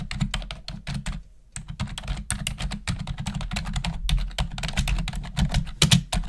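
Long nails and fingertips type rapidly on the keys of a black plastic desktop keyboard, making a dense run of short, crisp clicks and clacks with a low thud under each press and bright snaps on top. The typing pauses briefly near the first second and a half, then resumes at the same quick pace to the end.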